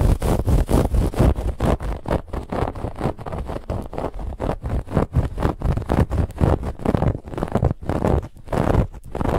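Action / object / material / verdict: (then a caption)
scrape / stuffed fabric pillow / fabric / none. Long nails of both hands scratch rapidly over a soft, stuffed white fabric pillow with a woven textured band. The result is a continuous run of quick, rough scratching strokes, about two per second and slightly uneven, with a dull, low-heavy rasp and a fainter bright hiss.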